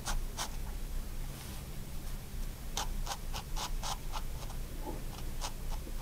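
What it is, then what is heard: Pen strokes on sketchbook paper. A 0.1 mm pigment liner pen tip makes short contour strokes on a white paper sketchbook sheet. The result is quick, bright scratchy scribbles over a steady low hum.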